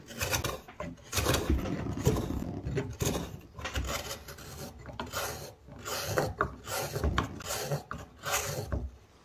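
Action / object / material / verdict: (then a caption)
scrape / softwood pine block with a carved hollow / pine wood / none. A hand-held hook knife scrapes and carves shavings from inside the smooth hemispherical hollow of a square, light pine softwood block. Repeated rough, rasping strokes come in short bursts with a full low body and a bright scratchy edge, separated by brief quiet gaps.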